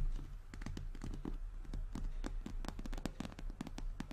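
A medium-sized, hollow, structured brown handbag of glossy croc-embossed leather, possibly faux patent, rests on a table and is tapped with the long natural nails of both hands. Quick, irregular clicking taps with brief bright edges land over a low, hollow thud from the bag's body. Each tap dies away fast.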